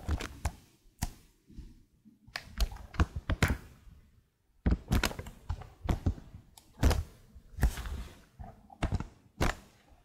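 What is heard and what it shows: Long blue nails tap the keys on the right side of a detached black plastic laptop keyboard, producing about two dozen short, dull, low clicks and thunks. The taps come in irregular bursts, with a brief silent pause near the middle, and each one dies away almost instantly.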